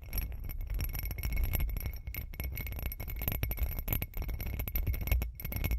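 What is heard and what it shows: Long green acrylic nails tap and scratch the outside of a hand-sized hollow glass cup or candle holder with a bumpy, glittery surface, held close to the mic. The result is a dense, continuous run of quick clicky taps and scratchy rasps over a heavy low rumble, with faint steady high tones above.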